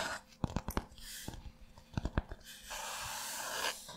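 An open spiral-bound notebook is held upright close to a microphone while flat fingertips and short nails rub and tap across a blank white paper page lying thin and flat over a backing. About nine quick, dry taps stand out between soft, hissing stretches of rubbing, with a longer bright, breathy scrape of nails across the page near the end.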